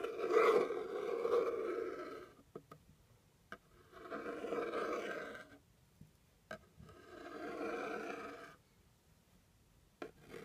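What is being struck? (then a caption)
Cardboard box scratched with a plastic stick. A white plastic pointed stick scratches the top surface of a hollow brown kraft cardboard box. Three long, rough, mid-pitched scraping passes are separated by quiet gaps with a few short, sharp ticks in between.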